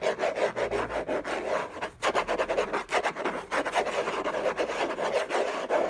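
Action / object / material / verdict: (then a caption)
scrape / cardboard box lid / cardboard / none. Fingertips and short nails scratch and rub across the hollow lid of a large, flat orange Hermès cardboard gift box. The result is a rapid series of dry, raspy strokes with a papery midrange. There is a brief pause near the two-second mark.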